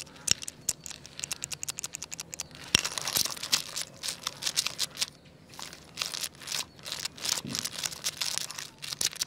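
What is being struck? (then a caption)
Jointed wooden toy crocodile. A jointed wooden segmented crocodile toy is waved close up and then curled on a tile floor while fingertips rub and wiggle its segments. It makes a raspy, bright wooden rattle of rapid, dry clicks and crackles with almost no low end.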